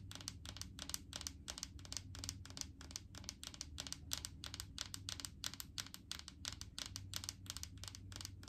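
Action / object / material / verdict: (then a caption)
tap / plastic jar of coconut oil / plastic / none. Long painted fingernails tap and scratch quickly on a large clear plastic jar full of solid coconut oil, moving over both the jar and its label. The result is a fast, uneven stream of crisp, bright clicks and scratchy ticks that die away at once, over a low steady hum.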